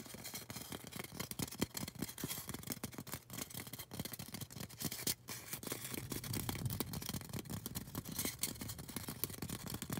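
Long orange nails rapidly tap and scratch a tall, solid white polystyrene foam craft cone that is partly out of frame at the start. Dense, dry clicks and scratchy rasps blend dull low thumps with a bright, hissy texture, and each sound dies almost instantly. The sound pauses briefly around five seconds, then resumes as steady tapping through the end.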